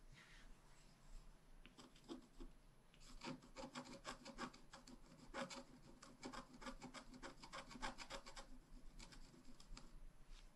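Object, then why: Wax-coated scratch-art card scratched with a wooden stylus. A wooden stylus tip scratches across a flat, black wax-coated scratch-art page of thin card, about A5 size, lying on a table, working near the upper edge. Quiet, dry rasping strokes start sparse, then become a fast run of short, bright scratches before thinning out again.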